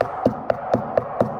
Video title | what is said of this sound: EXPOSED: Builder’s Secrets - WHAT THEY DON’T WANT YOU TO KNOW | When I knock on it, real wood does not sound like that. That is MDF.